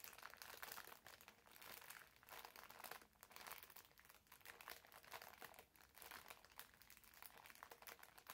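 A green foam bath sponge wrapped in clear plastic film is held by both hands at the ends while the wrapper is squeezed and crinkled. The result is a continuous, dense crackle of bright, crisp crinkles with almost no low end, swelling and easing in waves at a soft level.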